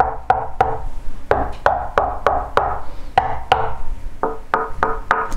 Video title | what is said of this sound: Акустическая система Microlab Solo 2 mk3 спустя 10 ЛЕТ! Просто компьютерные колонки? | Корпус колонок, он сделан из МДФ, причем все панели сделаны из МДФ. Это, в принципе, слышно даже на простукивании. Совершенно глухой звук.